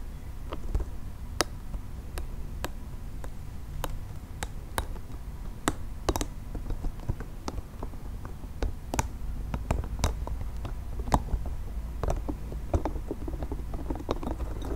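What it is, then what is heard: Soft plastic spiky ball. Fingernails tap and scratch a soft, multicolored nubby plastic spiky ball close to the mic. Sharp, dry clicks and brief scratchy ticks come unevenly throughout and die away almost instantly, over a steady low hum.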